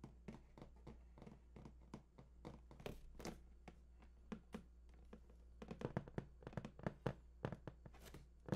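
Fingertips scratch and tap the lower front face of a large, hollow, printed cardboard PS4 console box in a quick, uneven series. Each tap is a short, dull, low thunk that dies away almost at once, with soft scratching between taps and a steady low hum underneath.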